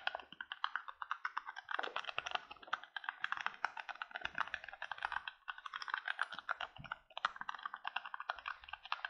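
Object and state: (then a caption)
Empty thin plastic cup. A small, empty, hollow, thin-walled white plastic cup is held above the face in both hands and quickly tapped and scratched with fingertips and nails. The result is a fast, steady stream of dry, clicky taps and light scratches, centred in the mid range around 1.5 kHz with brighter edges, each hit dying away almost instantly. The quiet, dense patter keeps going with brief dips for the whole nine seconds.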